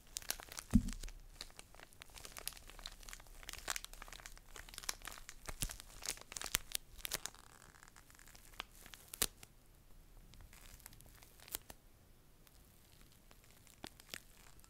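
A small, full pocket tissue pack in a thin plastic wrapper is held in the hand and crinkled and scratched with long nails. Quiet, irregular crackles and sharp bright ticks come in scattered bursts, with a louder pop near the start. The activity thins toward the end into sparse faint crinkles.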